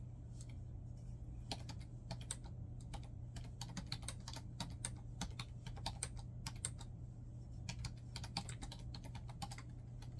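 Fingertips of both hands type rapidly on a black plastic laptop keyboard resting on a bed. Quick, bright, dry key taps click in uneven bursts over a steady low hum. Each tap dies away almost instantly.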